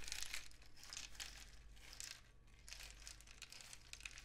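A long, hollow cardboard rain stick painted with suns and dots, with loose filling inside, is held horizontally in both hands and then tilted so the filling trickles through. The result is a continuous bright, crinkling patter of high grains rising and falling in dense bursts over a steady low hum.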